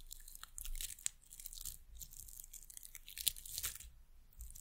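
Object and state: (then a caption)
Carved wooden bird pencil topper tapped and scratched. Long nails tap and scratch a small, solid, painted carved wooden bird figure on top of a wooden pencil. Quiet, bright, crackly scratching is broken up by crisp, sharp clicks over a faint low rumble. Each tap dies away almost at once.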